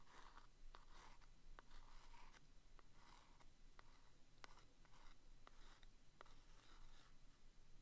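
A thin wooden stick taps and traces across the front of a small, closed, green printed cardboard box of vintage Commander staples held in one hand. Quiet, soft scratchy strokes alternate with short, dry clicks from the taps. The clicks die away instantly over a faint low background rumble.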